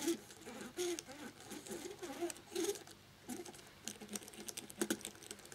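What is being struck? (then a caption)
Plastic laptop keyboard and cotton swab. A cotton swab held in the fingertips rubs and scratches around the edges of the keys on a black plastic laptop keyboard with its keycaps on. The result is a quiet, steady patter of soft scratching and scraping with bright, hissy bursts and short, dry ticks that die away almost instantly.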